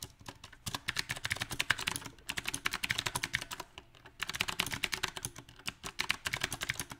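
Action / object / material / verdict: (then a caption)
tap / mechanical keyboard with round plastic keycaps / plastic / none. Both hands type with their fingertips on a compact backlit mechanical keyboard with round plastic typewriter-style keycaps. Rapid, bright, crisp key taps come in uneven bursts separated by brief pauses. Each tap dies away almost instantly.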